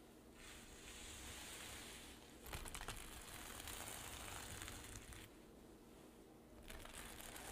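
Long nails scratch and drag across the plastic sequins of a flat, soft, hollow rainbow reversible-sequin pouch, flipping them silver. It makes a steady, bright crinkly scratching and rustling over a low rumble, growing louder and more clicky through the middle, dipping quieter, then rising again at the end.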